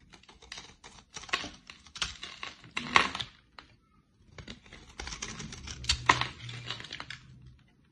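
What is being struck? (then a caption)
Bar of soap cut with a blade. A utility-knife blade shaves flakes off the edge of a solid, dry, pale green bar of soap with a stamped logo. Dry, bright scraping and cutting strokes come in quick uneven bursts, pause briefly near the middle, then return in a longer run of crisp shaving.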